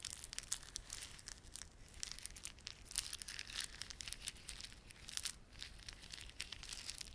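A small clump of plastic beaded garland, with glossy dark blue and silver solid plastic beads and red spiky plastic fringe, is held in both palms while the fingertips rub and squeeze it. This makes a steady, quiet stream of fast, bright clicking and crinkling with little low end, and a few sharper crackles stand out.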